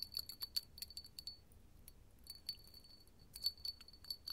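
A small, clear, empty hollow glass candle holder with hobnail bumps, held in the palm, is tapped with long gold metal finger claws. About seventeen quick, bright glassy clinks come in clusters with short pauses, each with a high, thin ping that dies away almost at once over a faint low background.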